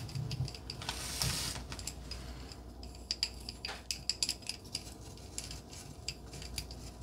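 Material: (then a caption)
Wood. Long glittery nails scratch and tap along a thin, solid red painted wooden pencil with a white heart print, held in the fingers. A soft, bright scraping swell builds early on, then gives way to a quick series of sharp, high, dry ticks and clicks over a low, steady hiss. Each tap dies almost instantly.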